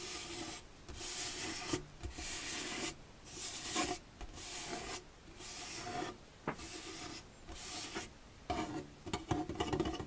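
Fingertips rub and scratch the white slotted front panel of an empty, hollow plastic storage box held up in the air. Repeated raspy strokes with short pauses between them give a bright, broadband scraping sound over a faint hollow resonance, ending in quicker, lighter scratches.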